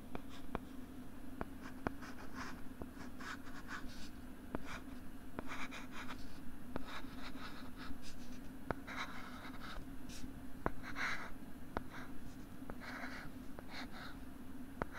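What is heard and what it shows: A stylus is dragged across a flat pink plastic LCD writing tablet held upright near the microphone, making bursts of soft, bright scratching strokes. Short sharp clicks from the stylus are scattered throughout, over a steady low hum. The strokes stay quiet and close throughout.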